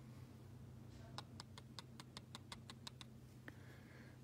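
Two chicken eggs are gently tapped together at their pointed ends, giving twelve quick, light clicks over a low steady hum. The taps sound solid rather than hollow, showing both eggs are good and uncracked.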